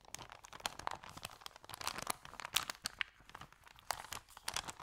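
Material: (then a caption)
Paper. Fingers pinch and crinkle the folded edge of an empty white paper sandwich bag with yellow print. The result is a steady, quiet stream of dry, bright crackles and crisp snaps, with almost no low end and no ringing after each sharp crinkle.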